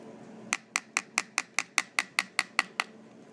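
The thin squamous part of the temporal bone on a skull is tapped twelve times in quick, fairly even succession, for comparison with the dense petrous part. Each tap is a short, bright click centred around 2 kHz with almost no ring, giving a light, hollow-sounding knock from the thin bone.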